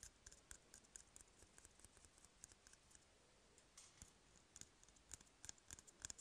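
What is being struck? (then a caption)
Cardboard toilet paper tube. Fingernails and fingertips scratch and tap on an empty, hollow cardboard toilet paper tube. The result is a quiet, steady run of short, dry, bright clicks and scratchy ticks over a faint hiss, each one dying away almost instantly.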